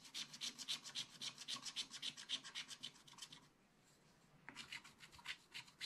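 A wooden stylus held in the fingers scrapes the coating off a black wax-coated scratch-art paper page in a small spiral-bound book lying flat. Quick, evenly paced, bright scratchy strokes repeat in a steady rhythm, stop for about a second, then start again.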